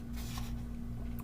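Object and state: Nothing is struck.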